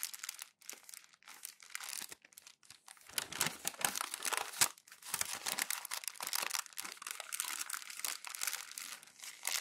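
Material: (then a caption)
Glossy paper. Hands scrunch and roll the thin printed pages of an open glossy magazine into a crumpled bundle. Dense, bright crinkling and crackling comes in bursts with brief pauses, with almost no low end. The sound grows louder and more continuous in the second half.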